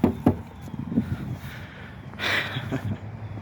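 Four short taps on an outdoor county waste receptacle give dull, low, hollow knocks that die away almost at once. A brief rush of broadband noise swells in the middle of the clip, and faint background rumble continues underneath.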